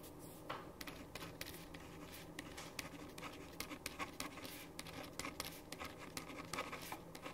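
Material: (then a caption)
Paper. A ballpoint pen tip scratches across a thin sheet of white printer paper on a wooden table while writing, with the left hand resting on the paper. Quiet, bright scratchy strokes and short ticks come in a quick, uneven run over a steady low hum.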